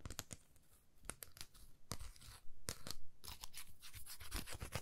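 A palm-sized, flat, thin, solid laser-cut plywood heart with a cut-out swirl pattern is held in both hands and tapped and scratched with long manicured nails. Quiet, dry clicks and brief bright scratching strokes come in an uneven rhythm, with short bursts of rubbing, and no ring after each touch.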